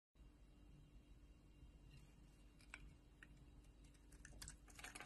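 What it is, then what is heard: Bar soap being carved. A solid oval purple soap bar, held in a palm by a hand with long nails, is shaved and carved with a metal utility knife blade as curled soap shavings break off. Short, crisp, bright scraping ticks sound over a quiet, steady low hum and grow denser and louder toward the end.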